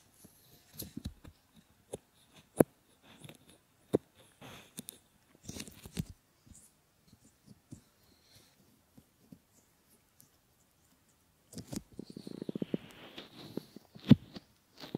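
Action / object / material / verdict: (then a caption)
scrape / silicone ear models / silicone / none. Fingers cover, press and rub a pair of solid silicone ear models, bending the outer rims. Soft, muffled rubs and small sharp taps and creaks come in scattered bursts with quiet gaps between them. A denser, louder stretch of rubbing fills the last few seconds.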